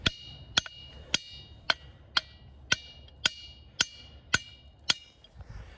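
A large, solid, reddish-brown diabase boulder with a pitted surface at Ringing Rocks Park in Pottstown, Pennsylvania, is struck repeatedly on the same face with a steel claw hammer. Eleven hits at a steady pace each give a sharp, bell-like ping with bright high tones around 3 kHz. The tones fade quickly under light background noise.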